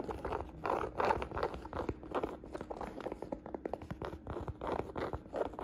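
Fingertips and long nails tap and scratch the surface of a hollow navy and beige woven jacquard canvas saddle bag held in hand. The result is quiet, quick, irregular taps mixed with dry, scratchy rasps, centered in the midrange with little low end and almost no ring after each touch.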